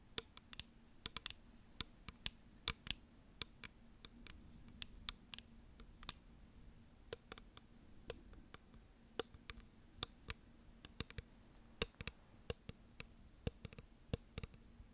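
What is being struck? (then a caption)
Thick glass perfume bottle. Long nails tap and click on a clear, rectangular perfume bottle of thick, solid-looking glass, making a quiet, irregular stream of sharp, bright clicks over about 15 seconds. Each click dies away almost instantly. A faint, steady low hum runs underneath.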